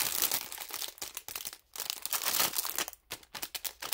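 A thin clear plastic film bag holding toy makeup pieces is held in both hands while the fingers crinkle and squeeze it in place. The result is a dense, bright crackling of rapid crinkles in uneven bursts, with a few brief near-silent gaps between squeezes.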